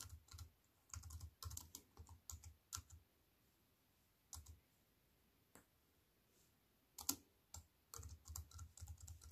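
Fingertips with long white-painted nails type on a slim wireless keyboard with a silver aluminium frame and black plastic chiclet keys resting on a wooden table. Quick bursts of crisp, bright key clicks over soft low thuds come in clusters, with quieter gaps in the middle of the clip and a steadier run of typing at the end.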